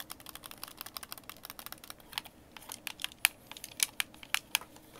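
A white, hollow, hand-sized plastic Xbox game controller is held in both hands while thumbs and fingertips press and click its buttons and thumbsticks. The result is a quiet, irregular stream of short, dry, bright clicks with almost no low end, and several sharper, louder clicks toward the end.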